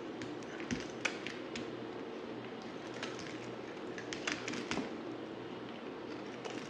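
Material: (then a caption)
Soap. A solid, dry white bar of soap, held in the hand, is shaved with a yellow utility knife blade. Short, crisp, bright clicks and scrapes come in uneven bursts over a low, steady background rumble, with each cut snapping off quickly and not ringing on.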